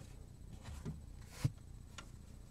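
A flat, solid black plastic cutting board with a cut-out handle slot is held in both hands while fingertips tap and scratch along its surface and edge. Two soft, dull low taps stand out, the second sharper and louder, amid faint bright scratching and a quiet background rumble. Each tap dies away almost instantly.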